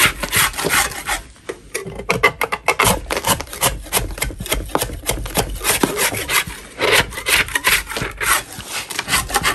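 A gloved hand scrapes a large solid chalk block with a metal putty knife, sending crumbs falling. Dense, gritty rasping strokes follow one another continuously, with bright, hissy texture and little low end.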